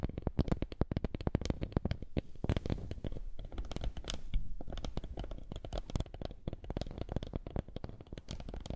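A small, flat woven wooden lattice coaster is held over a microphone and rubbed and tapped with fingertips. The result is a rapid, dense stream of short, dry clicks and scratchy rubbing. The sound is close and bassy, with brief sharp ticks reaching into the highs.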